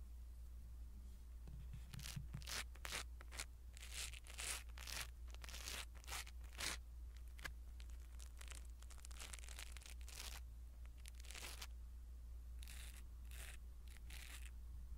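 A small black foam windscreen on a pin microphone is rubbed with a blue silicone-bristle ear pick. The result is a run of close, soft scratchy strokes and tearing-like rustles with bright hiss over a steady low hum.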